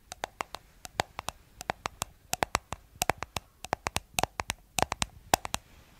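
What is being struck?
Small plastic cosmetic jar.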